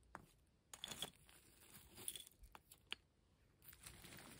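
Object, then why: Pile of broken concrete and plaster rubble. Fingertips and long nails rummage and scratch through a pile of dry grey broken concrete and plaster rubble made of loose, solid chunks. Quiet, bright scratching and gritty shuffling are broken by sharp little clicks and ticks as the pieces knock together, each dying away almost instantly.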